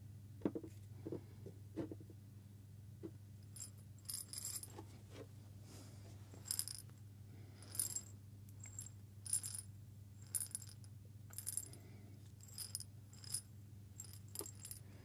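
A small hollow glass jar with a metal screw lid, partly filled with coffee beans, is lifted from a table and shaken by hand near the microphone. It makes short, bright rattling bursts of beans clattering against the glass, separated by brief pauses, over a steady low hum.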